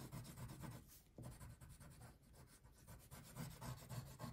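A light blue wax crayon rubs in broad strokes across a thin paper coloring page lying flat on a table, filling in the background. The result is a soft, steady, low scratchy rubbing with repeated back-and-forth strokes.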